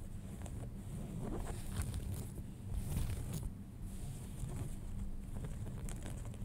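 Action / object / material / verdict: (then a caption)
scrape / denim jeans / denim / none. Fingernails scratch along the fly and front of a pair of folded light-wash denim jeans, producing a steady rough, low rustling texture. Brighter scratchy strokes rise and fall over a dense low rumble throughout.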